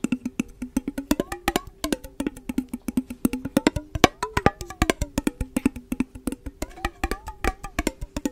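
A small, clear, hollow glass mason jar with a metal screw lid, apparently empty, is held in the hands close to the microphone and tapped and scratched with long nails and fingertips. About 43 quick, dry clicks and taps sound in an uneven rhythm over a faint, steady ring near 320 Hz, with light scratchy brushes between them.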